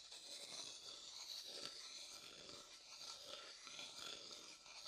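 A thin wooden stick scratches and rubs the inside of an empty, pale, hollow light wooden bowl. The result is a quiet, steady, bright scraping texture made almost entirely of high frequencies, with no low end and a few slightly louder strokes along the way.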